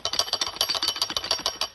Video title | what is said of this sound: My Porsche 924 Turbo: Fixing the #exhaust, rebuilding the #wastegate and new #motormounts! | if you shake it you can hear it's uh wobbly